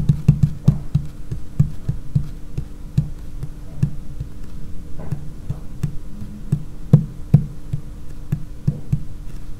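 Long painted fingernails tap on a large, solid, dark laminated wooden tabletop, likely laminated wood or particleboard. The result is an irregular stream of quick, dull, low-pitched knocks that stop dead with almost no ring, some louder than others.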